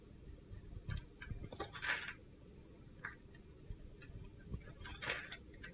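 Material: Soap.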